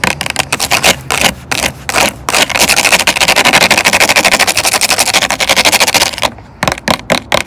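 Long orange acrylic nails tap and scratch the ridged sides of a hollow, clear plastic water bottle full of water, lying and then standing on a wooden bench. Scattered crisp taps and scrapes give way to a fast, steady run of bright, dry clicking taps through the middle, then slow back to a few separate taps at the end. Each tap is short and papery, with almost no low end and very little ring.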